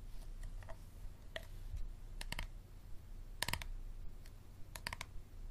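An empty, hollow, clear plastic water bottle with a label, held in both hands, is tapped and squeezed with fingertips and nails. Short, sharp plastic clicks and crinkles come in small clusters over a low, steady background hum.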